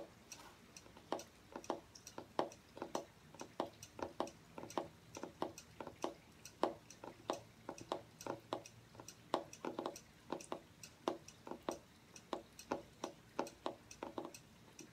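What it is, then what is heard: Hardcover journal cover, fingernail tapping. Fingernails tap the front cover of a striped hardcover journal with cardboard covers, held upright, in quick succession. Each tap is a short, dry click with a papery body around 340 Hz and a brief bright edge that dies away almost instantly. The taps come in a steady, uneven stream over a quiet background.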